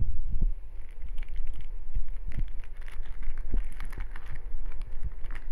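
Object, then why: Metallized plastic snack bag. A small 30 g printed metallized-plastic snack bag of shrimp-flavoured sticks is held in both hands while fingertips pinch, crinkle and tear open its top edge. Dense crinkling crackles run throughout, with bright rustles over repeated low thumps from the handling.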